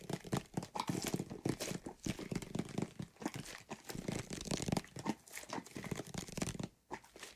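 Fingernails tap and scratch a white plastic bottle with a green label holding soapy water, and the bottle is shaken. Rapid crinkly scratches and tapping mix with dull, low-pitched knocks of the liquid-filled plastic, coming in dense, uneven bursts across the clip.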